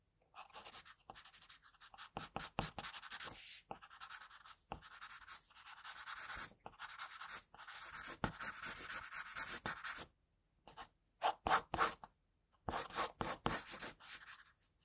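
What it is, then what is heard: Pencil drawing on paper. An HB wooden pencil draws long outline strokes of a face on a white drawing paper sheet resting on a desk, with the graphite rubbing and scratching across the paper. The strokes come as bright, dry scratchy hisses in bursts, separated by short pauses and a near-silent gap around the ten-second mark. Quicker, sharper strokes follow toward the end.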